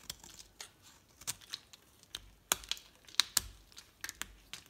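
A utility knife blade shaves a solid pink and white striped bar of soap down until only a small piece is left. Twelve short, crisp, bright scraping crackles come at an irregular pace, with quiet pauses between them and almost no low end.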